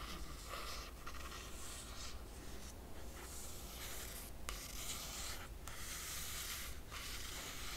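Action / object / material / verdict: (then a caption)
scrape / laminated cardboard hardcover book cover / laminated cardboard / none. A single long fingernail traces lines across the laminated cardboard cover of a closed hardcover book. It makes a soft, steady scratching and rubbing with a bright, airy hiss, broken by brief pauses between strokes.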